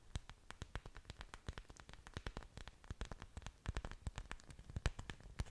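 Long dark nails scratch and tap the surfaces of an orchid plant's several large, thick, waxy green leaves, the plant with its exposed aerial roots held in front of the microphone. A rapid, uneven stream of short, dry clicks and soft taps follows, each with a dull low thump and a crisp bright tick that stops almost instantly, over quiet scratchy rustling.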